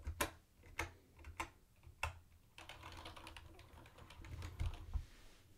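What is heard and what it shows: Fingertips of both hands type on a mint-green plastic retro keyboard with round white plastic keycaps. A few separate, sharp, bright clacks with a low thump come first, then a quicker run of overlapping key clicks. The keystrokes are short and dry with almost no ring.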